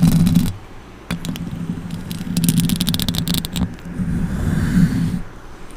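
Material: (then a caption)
Metal mesh. Long orange nails scratch and tap the metal mesh grille of a silver microphone with both hands. The result is a dense, scratchy rustle over a steady low rumble, broken by bright, crackling taps, with a brief quiet gap near the start before the scraping resumes.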